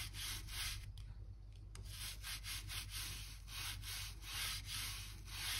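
A narrow gap-cleaning brush with a blue handle scratches back and forth along the gap between the planks of an old oak floor beside a white skirting board, brushing out dirt and dust. A bright, dry scratching rasp repeats in quick strokes over a steady low hum.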